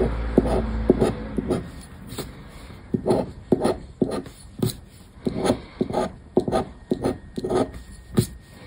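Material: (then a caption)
Paper. A black disc scraper is scratched back and forth over the latex coating of a paper lottery scratch card resting on a wooden table. It makes a series of short, dry, irregular scraping strokes with a rough, papery grain, mostly in the low and middle range. Each stroke stops almost at once with no ring.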